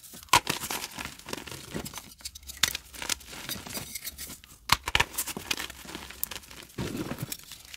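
Hands crush and crumble chunks of yellow pressed, reformed glow-in-the-dark gym chalk into fine powder over a bowl of chalk dust, with fingertips and palms squeezing and rubbing the pieces. The result is a dense stream of bright, dry crunching and crinkling, broken by several sharp, loud snaps as chunks break apart, followed by softer, gritty rubbing toward the end.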